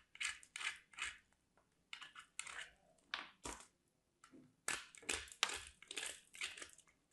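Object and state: Soap bar grated on a metal grater.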